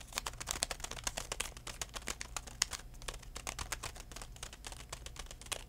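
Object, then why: Plastic pouch of floss picks. A full DenTek plastic pouch of floss picks is held in one hand and tapped quickly with the fingertips of the other. It makes a steady run of dry, bright clicks with plastic crinkling and no ring after each tap. A faint low hum sits underneath.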